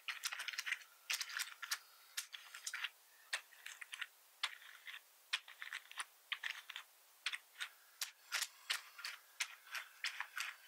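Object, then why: Plastic membrane computer keyboard. Fingertips of one hand type and tap on the keys of a black plastic membrane keyboard with red accent keys and a hollow casing. An irregular stream of short, bright, clicky taps comes in quick clusters and single strokes, each dying away almost at once, with no low thud beneath them.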